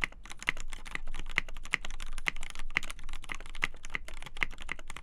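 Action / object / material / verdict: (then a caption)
tap / polycarbonate mechanical keyboard with PBT keycaps / polycarbonate / none. Both hands type continuously on a black polycarbonate KBD8x TKL mechanical keyboard with a polycarbonate plate, lubed Gateron Black Ink linear switches, and white and black PBT keycaps, its hollow case resting on a desk mat. Fingertips press and tap the keys in a fast, steady stream of short, crisp clacks, each with a low thock underneath and a brief bright tick around 2 kHz that dies away almost instantly.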